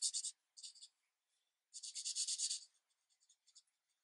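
A green marker tip is rubbed in strokes along the edge of a tree on a thin paper coloring page resting on a light pad. Soft, bright scratchy strokes come in short bursts, with a longer run of scratching in the middle and fainter light touches trailing off at the end.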